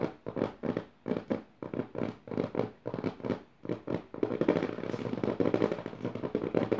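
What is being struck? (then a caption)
Paper pages of an open notebook. Fingertips and long nails scratch and tap the left page of an open notebook with dotted paper pages. Quick, dry papery bursts of scratching and tapping come in short separated flurries, then run together into a continuous, denser scratching for the rest of the clip.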